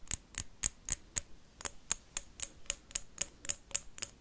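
A blue wax candle is tapped and scratched with paperclips, making 15 sharp, bright clicking taps in a steady rhythm, with a brief pause after the fifth. Each tap is dry and short, with almost no ring.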